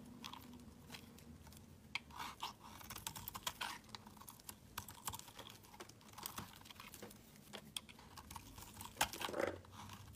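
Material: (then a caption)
Soap. A solid, cream-colored oval bar of soap is held in the hand and shaved with a utility knife blade, sending flakes coming off. The clip is a quiet, steady run of dry, crisp scraping ticks and crackles centered around 800 Hz with bright edges, with a louder cluster of cuts near the end.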